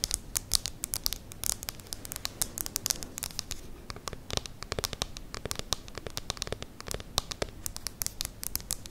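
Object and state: Plastic e-reader tapped and scratched with nails.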